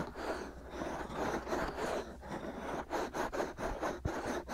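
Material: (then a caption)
Silicone. Short fingernails and fingertips scratch and cup two hollow, soft silicone ear molds on a black 3Dio-style binaural microphone. The result is a close, continuous scratchy rustling with a steady low rumble underneath. Toward the end it breaks into quicker, choppier scraping strokes.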